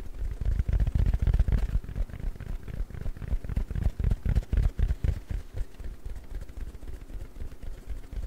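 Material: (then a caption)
Foam. A round, palm-sized, yellow porous foam sponge is scratched and squeezed with fingers. It makes dense, low, muffled crackling and rustling in rapid, uneven bursts of about four per second. The sound is louder for the first five seconds, then softer.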